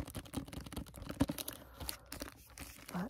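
Finger pads tap and grip the plastic jacket of a hardcover library book with a goose on its cover. The result is a dense run of soft, dull taps mixed with crinkling, rustling plastic. A slightly louder tap stands out near the middle.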